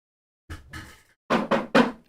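Knuckles knock five times on a real wooden object nearby as a superstitious "knock on wood" gesture. Two soft, dull taps are followed by a pause and then three louder, sharper knocks with a woody mid-range tone. Each knock dies away almost at once.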